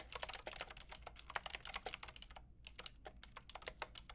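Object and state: Plastic mechanical keyboard.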